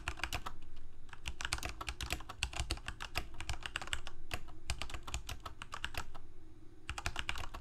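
Fingertips of both hands type rapidly on a full-size black plastic Corsair K68 mechanical keyboard with Cherry MX Red switches and blue backlit keycaps, resting on a white desk. A steady stream of quick, bright key clicks and clacks runs throughout over a low, constant hum, with brief pauses near 4.6 and 6.8 seconds.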